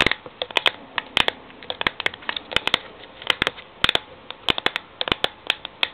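Long painted fingernails tap and scratch the green paper-labelled side of a medium cylindrical steel Milo powder tin standing on a laptop; its fill is not visible. A rapid, irregular run of sharp, dry clicks dies away instantly, over a soft bright scratching hiss, with the sound almost entirely high-pitched and light in the lows.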